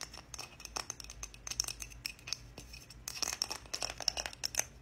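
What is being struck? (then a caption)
Small wooden heart. Long nails tap and scratch a small, solid, striped wooden heart held up in both hands. The result is a quick, uneven run of crisp, bright clicks and dry scratches with a faint high tone, each tap ending almost instantly.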